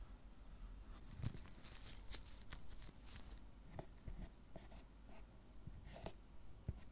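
A gloved hand scrapes and carves the surface of a solid milk chocolate bar with a metal carving tool, lifting chocolate curls. Quiet, dry scratching strokes come in short bursts with brief sharp ticks, each dying away almost at once over a low, dull rumble.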